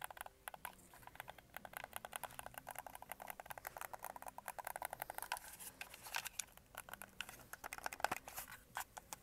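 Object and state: Plastic game controller.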